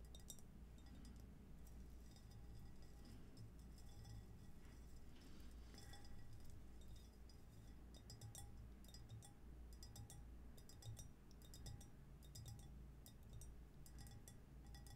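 Long almond-shaped nails tap and scratch along the raised diamond pattern and rim of a hollow, pale pink ceramic cylinder vase held on its side over a blue cloth. Quick, bright clinks and ticks repeat throughout over a low, steady background rumble.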